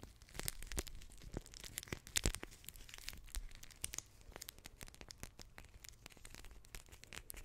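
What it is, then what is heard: Plastic water-bead gel pack. A blue plastic water-bead gel pack with a crinkly clear plastic shell is held in both hands and scratched and squeezed with long nails. It makes a dense run of quick, dry crinkles and sharp tapping clicks that are bright on top over a soft low rumble. The sound peaks in a louder cluster about two seconds in, then settles into quieter, steady crackling.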